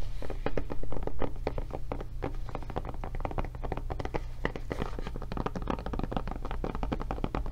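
Long nails tap rapidly across the back of a blue silicone rubber tablet case fitted over a solid tablet, making short, dull, soft clicks at an uneven pace of about four per second. The taps die away almost instantly over a steady low hum.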